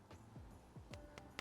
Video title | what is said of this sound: First Impressions Dura-Bulb by Tru-Tone | Sounds like glass. Got like a ring.